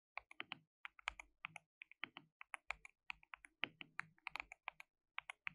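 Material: Plastic.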